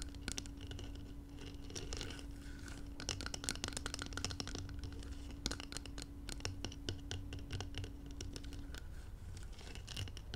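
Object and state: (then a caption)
Filled glass jar. Long nails scratch and tap around the side walls of a glass jar filled with gold contents. Quick, sharp clicks and taps ring out over a soft, continuous scratching, with a faint steady hum underneath for most of the clip.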